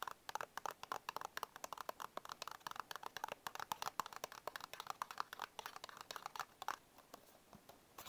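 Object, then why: Small paperboard biscuit box. Fingertips and short nails tap and scratch the front panel of a small printed paperboard Bisco biscuit box held upright. Dozens of quick, dry, hollow clicks sit mostly around 1 kHz with almost no bass. The sparser final second leaves a soft scratching hiss between the last taps.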